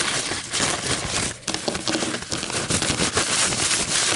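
A thin, white, crinkled paper coffee filter is held and stretched by hand, then scratched and crinkled with long nails on a table. The result is a dense, bright, papery crackling and rustling that runs almost continuously, with a brief quieter dip around a third of the way through.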